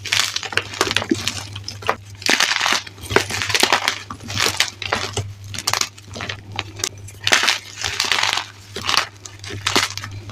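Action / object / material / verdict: scrape / chunks of gym chalk / gym chalk / none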